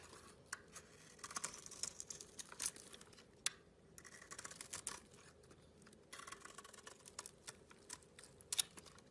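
A metal utility blade scrapes and carves a hand-sized solid blue bar of soap with a white core, and flakes fall off. The sound is quiet, with bright, crisp scraping bursts and sharp little clicks separated by brief pauses.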